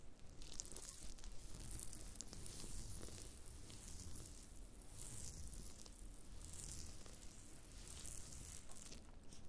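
Black-gloved fingertips press, rub and scratch a pile of thin, brittle, brown dried black fungus (wood ear mushroom) pieces on a white cutting board. The result is a steady, close, quiet crackling and crinkling rustle with bright, papery, scratchy highs over a soft low rumble.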